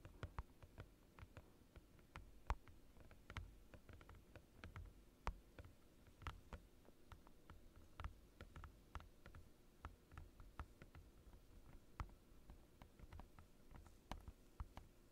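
Both hands tap a large, thin, transparent glossy plastic desk mat lying on a desk with their fingertips and short nails. The result is an irregular patter of quiet, dry clicks and ticks that stop instantly, each with a bright snap, over a soft low rumble.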